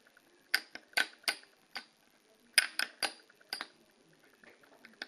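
Long polished fingernails tap and scratch the tops and edges of two short stacks of colored plastic poker chips (solid discs) resting on a fabric-covered table. About eleven sharp, bright clicks come at uneven intervals, each dying away almost instantly, with a faint scratchy rustle between them.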